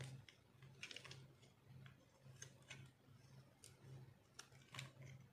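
A metal blade scrapes and carves crunchy shavings from a solid, dried orange soap bar held in the palm. Short, bright, crisp scraping bursts come in an irregular series over a quiet, steady low hum.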